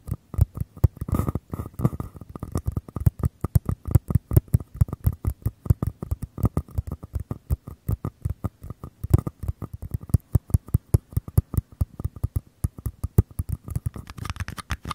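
Fingertips tap and scratch the outer walls of two identical small, empty, hollow paper cups held upside down. Rapid, irregular, dry taps come in dense bursts for the whole clip, each one short and dull with a low, hollow thump and a faint scratchy rustle between them.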